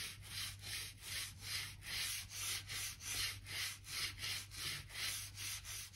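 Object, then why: Wooden plank floor seam scrubbed with a stiff brush. A gap brush is scrubbed back and forth along the seam between old wooden floor planks near the skirting, brushing out dirt and dust. It makes about fifteen rhythmic, bright, scratchy strokes at roughly two and a half per second over a faint, steady low hum.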